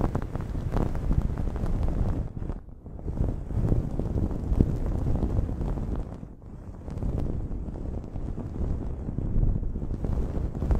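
Long nails scratch a blue cotton terry cloth towel draped over a microphone, making a dense, low, rumbling scratch with almost no high content. The steady rustling briefly drops quieter around the third and sixth seconds before resuming.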